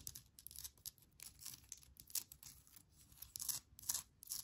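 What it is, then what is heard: Granite rock scratched and tapped with nails. Long nails tap and scratch the rough surface of a small, solid, palm-sized speckled granite rock with an air plant on top. The sound is a quiet, irregular run of short, dry, bright clicks and scrapes with almost no ring.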